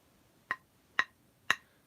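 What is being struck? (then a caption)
Thick cast metal cymbal piece. A thick metal cymbal piece, apparently cast, is struck three times in a ping test. Each strike gives a short, bright tick centered near 1.9 kHz that dies away almost at once, leaving little ring.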